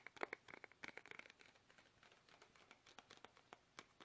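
Fingertips tap quickly on a small, soft, hollow plastic toothpaste tube held upright in both hands, producing a rapid run of quiet, dry, crinkly clicks. The taps are bright with almost no low end and a brief squeaky tone around 2 kHz, loudest in the first second before settling into softer, scattered taps.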